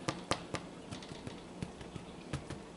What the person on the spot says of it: you hear that that hollow sound means that they're done